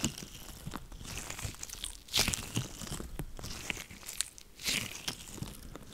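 White latex gloves worn on both hands are rubbed, pressed and flexed together just above a microphone. The result is a crinkly, rubbery rubbing with bright, hissy texture and scattered soft crackles. Louder swells occur around two seconds and again near four and a half seconds.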